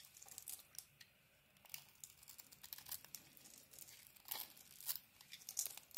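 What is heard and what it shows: A utility knife blade carves a solid blue bar of soap with a cream interior into shavings that fall onto the table. Quiet, bright, crisp scraping and crackling come in a quick series of short scratchy bursts, with a few louder cuts standing out.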